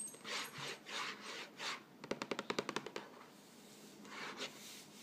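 Fingertips and nails rub and scratch across the front face of a yellow Vegetable Thins cardboard cracker box, medium-sized, hollow and likely filled with crackers, lying on a chair. Soft, bright swishing strokes come first, then a rapid run of about twelve short, dry taps and scratches, before the gentle rubbing resumes at low volume.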